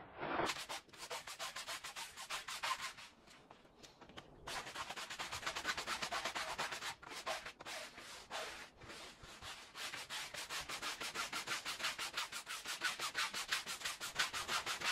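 A green plastic-bristle push broom scrubs back and forth across a small, wet, oval red fringed woven fabric rug covered in soap foam on a concrete floor. The clip is a fast, steady run of bright, hissy, bristly scrubbing strokes, about three per second, with a brief quieter lull around the fourth second.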